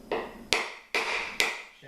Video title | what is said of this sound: DIY Big Foot | you'll hear a tone change where it sounds like it's hollow